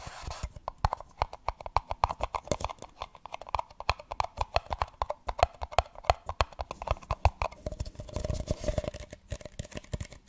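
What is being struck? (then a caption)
Empty paper cup. A single small, hollow, empty printed paper cup is held upside down and rapidly tapped with long nails on its sides and base. Dozens of quick, dry, hollow taps with a mid-pitched papery knock follow one another in an uneven rhythm. Near the end they blur into a denser, scratchier patter.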